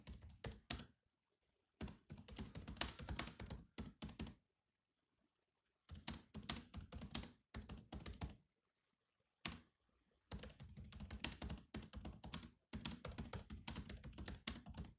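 Fingertips type fast on the black plastic keys of a grey laptop keyboard, giving dense runs of clicky taps with a soft low thud beneath the bright clack. The bursts of typing stop and start with short quiet pauses between them, and each keystroke dies away almost at once.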